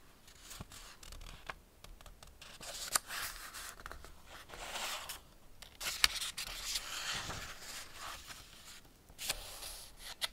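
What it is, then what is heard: Hardback paper picture book. Fingertips rub the paper pages of a small Ladybird hardback picture book, Man and His Car, lying open, and turn them. Soft, bright papery rustling and swishing runs throughout, broken by a few sharper crisp snaps as pages flip over.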